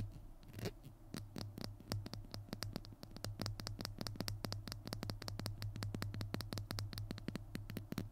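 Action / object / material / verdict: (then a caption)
tap / plastic glue stick / plastic / none. A small hollow plastic glue stick is held in both hands while fingernails scratch and tap its label. The result is a rapid run of short, dry, clicky taps with a bright high edge and almost no ring, mixed with light scratching over a steady low hum.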